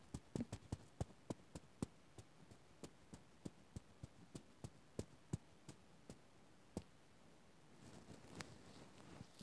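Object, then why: Small stuffed plush toy with terry fabric. Fingertips scratch and rub across the fuzzy light blue terry fabric of a small stuffed Oswald Tsum Tsum beany plush toy while the other hand holds it. About twenty quiet, short, dry scratching ticks come in a steady rhythm, mostly low in tone with a faint bright edge. Near the end they give way to a soft, continuous rubbing hiss.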